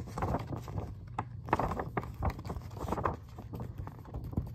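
Fingertips and short nails tap and scratch the open glossy printed pages of a magazine held up in the air, its thin layered paper giving soft, quick, dull taps. The sound is muffled and low-heavy, with a papery rustle between the irregular taps and almost no bright edge.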